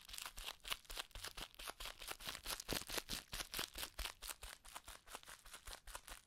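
A small ball of clear plastic bubble wrap with air-filled bubbles is squeezed and crumpled by fingertips in cupped hands. A steady, rapid run of sharp, bright crinkles and soft crackles follows, with short, dry snaps and almost no ring.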